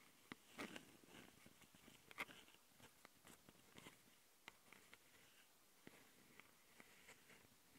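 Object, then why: Metal mesh microphone grilles on a small plastic recorder. Long nails from both hands scratch the metal mesh grille microphone capsules on a small plastic Tascam handheld recorder. Quiet, irregular scratchy rasps are punctuated by about a dozen sharp, bright clicks that stop dead with no ring.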